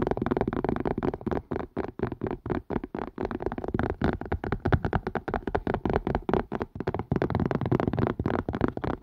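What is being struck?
Plastic and silicone collapsible strainer.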